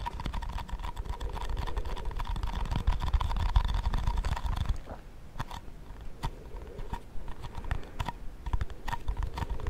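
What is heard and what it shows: Long fingernails tap rapidly on the lid and sides of a round, cream-coloured plastic shaving cream tub with a lid, held close to the microphone. A dense, steady patter of short, dry clicks fills the first half, then thins to sparser, quieter taps.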